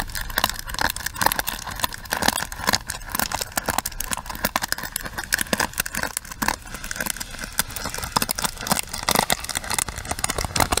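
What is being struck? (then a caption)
Plastic paddle hairbrush. A pink plastic paddle hairbrush is held close while long nails tap and scratch its bristle pins and frame. The result is a dense, continuous stream of quick, crackly clicks and scratchy rasps, bright and thin with little low end.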